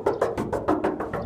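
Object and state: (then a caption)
Solid steel truck body panel with no filler. Nine quick, hollow knocks rap across the steel body panels of a 1964 Chevrolet C20 pickup, each a short mid-pitched tap that dies away almost at once. Every knock sounds like solid metal with no body filler on the outside, on a truck that has had many of its body panels replaced.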